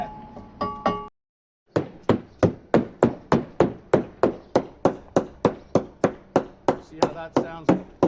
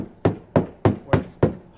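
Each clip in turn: First: About twenty steady knocks on a fibreglass hull give short, firm low thuds, a solid spot backed by a bulkhead. Second: Six evenly spaced knocks on fiberglass hull, low and boomy with a quick fade: a hollow, unsupported panel.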